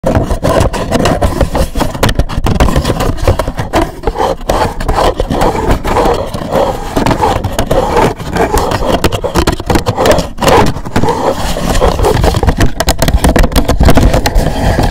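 Fingertips and nails scratch and tap a hollow black rigid cardboard gift box with a gold logo, which rests on a second box over the mic. The result is a dense, continuous run of rough scraping mixed with quick hollow taps. It sounds heavy and boomy in the lows, with very little high-end brightness.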